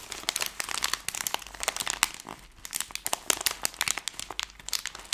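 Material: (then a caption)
Plastic film. A plastic-film Skittles candy bag is crumpled and twisted between two hands with long nails. It makes a dense, bright crinkling of sharp crackles and crunches that come in quick bursts with brief pauses. The sound is almost all high and has almost no low end.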